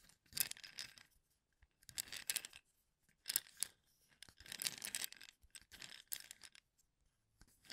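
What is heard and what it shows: Fingertips brush and flick across the exposed tips of many wooden toothpicks tightly packed in a small cylindrical cup held in one hand. This produces bright, dry bursts of rapid clicking and crackling that come in short spurts separated by pauses. The sound is almost entirely high in pitch, with no low end and no ringing after each click.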